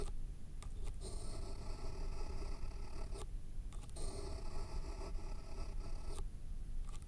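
A pen tip scrapes and scribbles across the top sheet of a thick, solid stack of white paper resting on a foam block. Two long stretches of steady, bright scratching are framed by a few short strokes, all over a constant low rumble.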